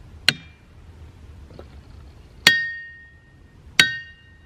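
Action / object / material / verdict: strike / boulder struck by hammer / rock / ringing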